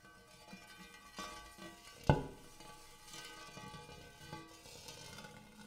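Fingertips rub and tap the dimpled inner surface of a large, empty, hammered brass-colored metal bowl. Quiet scraping and soft taps stand out around one sharp, louder tap that briefly brings out a low metallic tone with faint steady overtones. The sound then settles back into soft rubbing.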